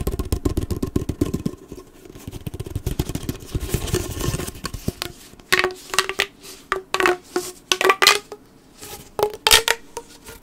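Fingertips scratch the ribbed surface of a hollow blue corrugated plastic pop tube while it is bent and compressed. The first half is a dense run of rapid, raspy ticks with a low buzzy body. The second half turns into sparser, separate bright crackles and clicks as the ribs snap.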